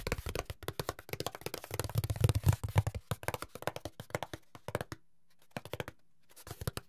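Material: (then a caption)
Cardboard. Fingertips tap and scratch the ribbed surface of a long, flat brown corrugated cardboard strip held in the hands. Rapid, irregular dry taps and scratchy strokes come with some low, hollow thumps in the middle. A brief silence follows, then a few scattered taps.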